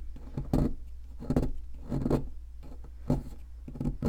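A metal chisel with a wooden handle scrapes and chips at the top surface of a solid white plaster fossil excavation block. Dull, gritty scraping strokes come in irregular bursts over a steady low hum, with short, muted chips and little ring.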